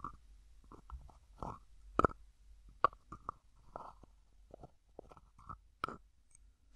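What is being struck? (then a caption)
Small plastic cosmetic jar with screw lid. Fingertips twist and rub the plastic screw lid of a small, hollow white plastic cosmetic jar. Quiet, irregular bursts of scraping and rubbing carry a hollow, mid-pitched plastic resonance, broken by a few sharper clicks of the lid.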